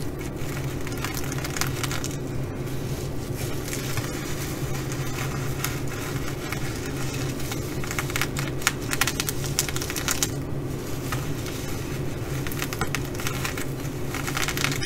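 Long nails on both hands scratch across the sequins of a reversible blue and bronze flip-sequin fabric bag. The result is a steady, dense crackling and rustling with bright, crisp scrapes over a constant low hum, with a few slightly louder scratches near the middle.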